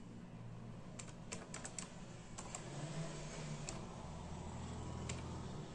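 Bare fingertips of both hands tap steadily on a full-size black and silver plastic membrane keyboard with hollow keys. Soft, short, bright clicks come in uneven bursts over a low, steady hum, and each keystroke dies away almost instantly.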